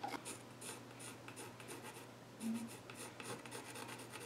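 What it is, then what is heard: Pencil scratching on a wooden stool top. A hand holds a pencil tip in its fingers and scratches lines onto the flat top of a solid, reddish-brown, grained wooden child's stool. Soft, dry scratching strokes come in quick repeated bursts of bright rasping over a faint steady low hum, with a slightly louder stroke near the middle.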